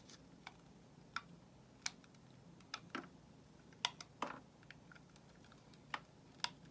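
A solid white soap bar, held in the hand, is shaved with a metal utility knife blade. The result is a sparse series of short, crisp scraping clicks, each bright and quickly gone, separated by quiet pauses over a faint low hum.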